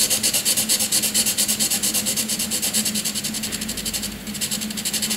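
A graphite pencil rapidly shades a grey block on a white sheet of paper with fast rubbing strokes, making a bright, scratchy hiss that pulses with each back-and-forth stroke. A faint steady hum sits underneath, and the strokes ease briefly just after four seconds before resuming.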